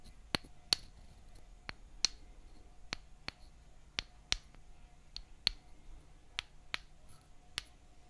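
A small wooden mallet taps a thin solid wooden stick, both held in the hands, with 13 light, separate knocks. Each knock is a short, bright click with a high ring that dies away almost instantly over a faint, quiet background.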